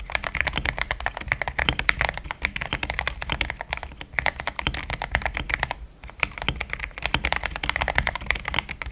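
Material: Plastic.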